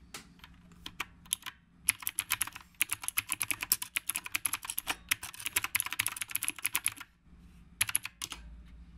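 Fingertips of both hands type steadily on a black retro typewriter-style mechanical keyboard with round plastic keycaps. It makes a quick run of bright, sharp clacks that stop dead, with almost no low end. The typing pauses briefly near the end before a few more keystrokes.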